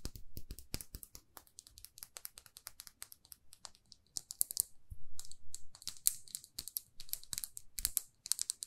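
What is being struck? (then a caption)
Small plastic lipstick case. Long nails tap rapidly on a small, glossy red plastic lipstick tube, making a fast, uneven stream of dry, sharp clicks. The clicks die out instantly, and bright, scratchy bursts of crinkling swell in between them, all over a soft, low rumble.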